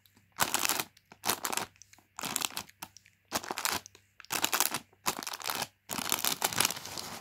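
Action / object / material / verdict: scrape / crinkly plastic film snack bag / plastic film / none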